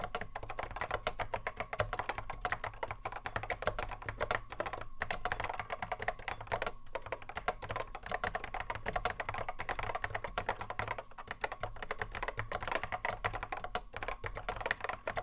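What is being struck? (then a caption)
Plastic mechanical keyboard. Continuous touch typing on a cream Apple M0110A keyboard, its hollow plastic case fitted with Alps SKCC mechanical switches and sitting on a wooden desk, keys struck by the fingertips of both hands. A steady, dense stream of short, sharp clacks carries a hollow plastic tone centred in the mids, each click dying away almost instantly, over a faint low hum.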